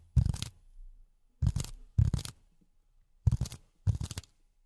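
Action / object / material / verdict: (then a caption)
scrape / polyethylene foam sheet / polyethylene foam / none. A flat, solid grey polyethylene foam sheet is held in both hands and tapped and scratched with silicone pads on the fingertips. Five short bursts of dull, low-pitched crunching taps are separated by brief silences, each burst stopping abruptly with almost no ring.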